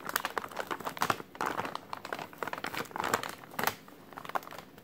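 A white translucent plastic takeout bag printed with a menu is crinkled and squeezed by hand. It gives off dense, crackly rustling with sharp bright snaps that come in quick irregular bursts and die away instantly.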